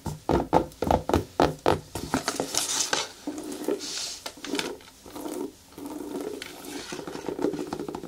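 Long nails tap the shaft of a single black natural rubber boot, hollow and empty, in a quick run of separate, dull, short taps. The nails then scratch the treaded sole with a steadier, rasping scrape that has a bright, hissy edge.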